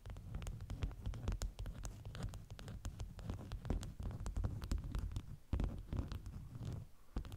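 Long nails scratch and tap the top of a stack of folded beeswax-coated fabric wraps with a bee print. Rapid, dense taps and scratchy strokes come through as soft, low, muffled thumps with brief bright clicks, fading almost instantly after each touch.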